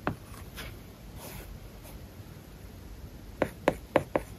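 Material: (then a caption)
Plastic film. A hard plastic stylus tip writes on an iPad lying flat, its glass screen covered with a matte, paper-like plastic film. Soft, faint scratching strokes follow an opening tap, then four distinct sharp taps close the clip. Each tap is a short, dry tick with a mid-pitched click and almost no ring.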